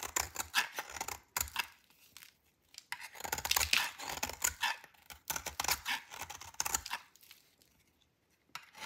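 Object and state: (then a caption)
Dry soap bar shaved with a blade. A dry, solid purple soap bar is held in the hand and shaved with a metal blade. Repeated crisp, bright scraping and crackling strokes come in bursts, with brief quiet gaps between them.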